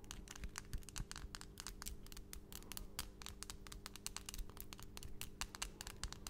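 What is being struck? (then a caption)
Acrylic fingernails. Long, solid, pastel acrylic nails are tapped rapidly nail against nail as the fingertips of both hands meet in front of the mic. The result is a dense, fast stream of sharp, bright clicks with almost no ring. Underneath is a quiet, steady low hum.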